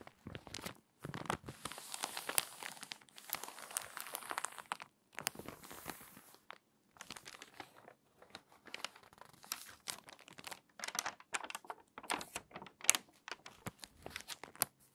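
Fingertips and long nails rub the open page of a crinkly glossy paper magazine, then the page is turned and crinkled. The sound is soft, bright, crisp rustling and crackling in dense bursts, with short pauses between them and almost no low end.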